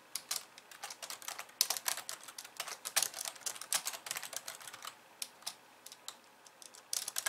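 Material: Plastic.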